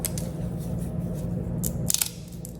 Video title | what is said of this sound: Why I Stopped Buying Crackers (This Extra Crunchy Recipe Is So Much Better!) | hear how nice and crispy they are. Listen to that. See how crispy they are?